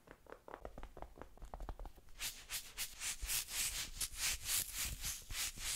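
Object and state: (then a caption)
Plastic toy figure tapped and scratched with nails. Long pink nails tap quickly on a small green plastic dinosaur figure held in a hand, making light, rapid clicks for about two seconds. The nails then scratch back and forth across its textured surface in louder, bright, rhythmic rasping strokes that continue to the end.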